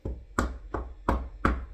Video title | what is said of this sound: Last Time at Camp: Week 3, Day 2 - Chaplaincy Class, Movie Time, and Staff Cabin Tour | Just hear that solid wood there.